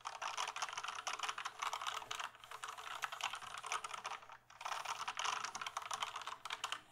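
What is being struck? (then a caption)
Plastic computer keyboard. Fingertips tap and type on the keys of a full-size plastic gaming keyboard held tilted. The result is a dense run of quick, dry, bright plastic clicks with almost no ring, a short lull around the middle, and then rapid typing again.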